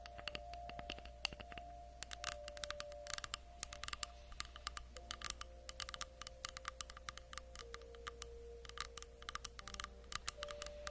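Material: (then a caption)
Wood. A round slice of tree log with its bark edge, about 20 cm across and made of solid wood, is held up in both hands in front of a fluffy microphone. Long acrylic nails tap and scratch it quickly. The result is a dense run of sharp, bright clicks with almost no ring, over a steady low hum and faint tonal lines in the background.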